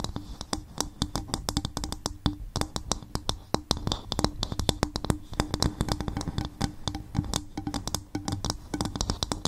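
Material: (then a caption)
Coconut shell. Long fingernails tap rapidly on the sides and top of an upturned, hollow, empty coconut shell bowl. The result is a steady stream of short, dry clicks, each with a low, hollow knock and a bright fingernail tick that stops almost at once.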